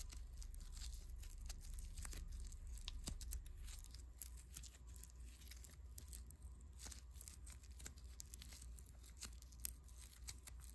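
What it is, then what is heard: Foam bead clay being kneaded. A small, soft, solid lump of pink foam bead clay is pinched, kneaded and rubbed between fingertips. It gives a quiet, continuous run of fine crackling, crunching and bright ticking pops over a steady low hum. The texture is irregular, with occasional louder snaps standing out.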